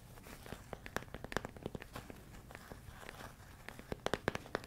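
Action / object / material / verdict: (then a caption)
tap / plastic food container filled with rice / plastic / none. A medium, clear plastic storage container, hollow and full of rice grains, is held close to the microphone and tapped and scratched with fingertips and nails. Quick, dry taps and crinkly scratches come in an irregular run, with a faint shifting of the grains beneath. Each hit dies away almost at once, and a louder cluster of taps comes near the end.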